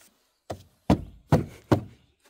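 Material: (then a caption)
Plastic. Knuckle knocks on the thin plastic inner door panel (door card) of a first-generation Dacia Sandero Stepway, where the plastic has been made thinner to cut costs. Four dull, low thumps with very short decay. The panel sounds really hollow.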